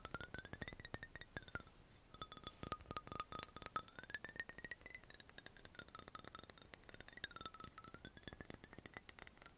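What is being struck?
Glass dropper bottle with cap.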